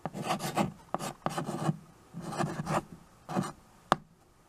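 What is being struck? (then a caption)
Chalk on a wood-framed chalkboard. White chalk is scratched across the dark surface of a small flat chalkboard in a wooden frame while names are written, giving repeated gritty, raspy strokes with short pauses between them. The clip ends with a single sharp tap followed by quiet.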